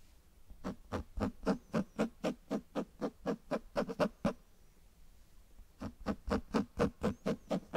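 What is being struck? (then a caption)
Cloth-bound hardcover book. Fingertips and nails tap and scratch the front cover of a closed cloth-bound hardcover book held right at the mic. Twenty-four dull, low thumps fall in a steady rhythm of about four per second, each dying away almost at once. The tapping breaks off for about a second and a half of near silence before resuming.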